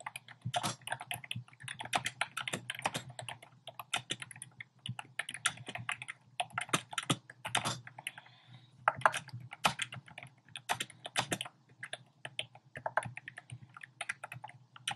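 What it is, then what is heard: Plastic keyboard being typed on. Fingertips with short painted nails type rapidly on a compact keyboard with a black plastic frame and round pink, orange and cream plastic keycaps, resting on a desk. Quick bursts of short, bright, dry clacks come with brief pauses between them, over a faint steady low hum.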